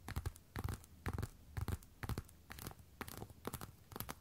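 Long red and black nails tap and scratch the hard fronts of a worn pair of black glossy patent platform boots. Quick clusters of dry taps arrive about twice a second, each with a dull low knock and a brief bright scratchy edge. They stop dead with almost no ring between bursts.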